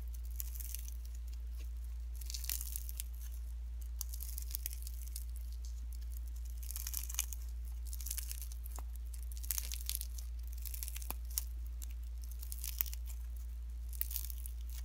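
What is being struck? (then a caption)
Slime with shredded cellophane. Fingertips squeeze, fold and pull pink slime mixed with shredded cellophane, producing bursts of bright, crisp crinkling and tearing-like rustles. Between the bursts there is only a faint steady low hum.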